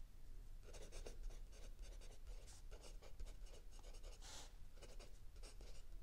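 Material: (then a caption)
Paper. A mechanical pencil writes continuously on the lined paper page of a spiral notebook resting on a wooden table, while the other hand rests still on an open paperback. Quiet, dry scratching comes in quick, short bursts of strokes, bright and papery, over a steady low rumble.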